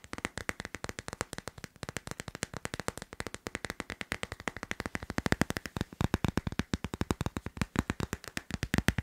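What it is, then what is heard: Plastic phone case on a smartphone. A hand-sized teal leaf-print hard plastic phone case, fitted solidly on a smartphone, is tapped rapidly with fingernails on the back and edges. The result is a fast, steady stream of short, dry clicks with no ring, growing louder and heavier in the second half.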